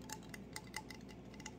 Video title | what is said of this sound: Show and Tell of all Kinds of Things! | it's almost a hollow sound isn't it and that's because it is hollow